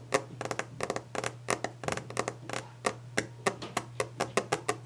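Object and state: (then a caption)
Wooden desk. Fast, aggressive hand tapping and scratching on a wooden desk. The clip is a rapid string of short, dry knocks that die away almost instantly, with mid-range body and bright clicky edges. A steady low hum sits underneath.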